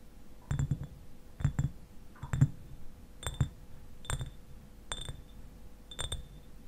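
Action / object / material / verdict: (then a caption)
tap / glass eyewash bottle, partly filled with liquid / glass / none. Fingernails tap the shoulder and sides of a clear glass eyewash bottle that stands upright and is partly filled with liquid. Short, dull low knocks with a faint bright glassy ping come in small clusters about once a second, each dying away almost at once. A faint steady hum sits underneath.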